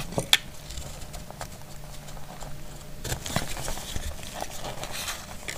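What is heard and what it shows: A metal utility blade shaves a solid, dry brown household soap bar, with curls falling off. A sharp click at the start gives way to soft, dry scraping and crackly ticks over a low, steady rumble.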